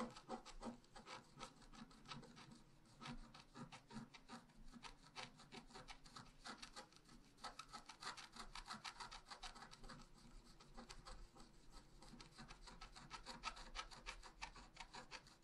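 A wooden stylus scratches fine detail lines into a flat, black-coated scratch art paper sheet, about A4 size, lying on a table. Quick, irregular strokes make a steady stream of dry, bright scratching and rasping, with each short stroke dying away almost at once. The sound stays quiet and continuous throughout.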